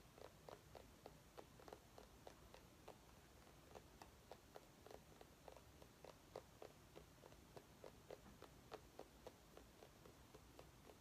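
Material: Pumpkin rind.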